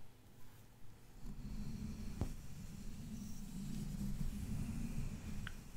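Fingertips and nails of both hands tap and scratch the black mesh metal grille of a large condenser microphone. It starts quiet, then from just over a second in there is a steady, close, low rubbing rumble, with one sharp tap standing out near the middle and a faint bright tick near the end.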